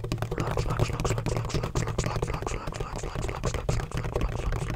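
Fingertips rapidly tap and scratch a large, black, hollow, donut-shaped plastic bottle with a textured surface and a red cap. The result is a dense, continuous patter of short, dry clicks and scrapes over a low, hollow thump.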